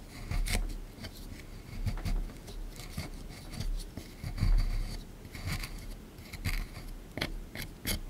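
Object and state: Plaster excavation block being scraped.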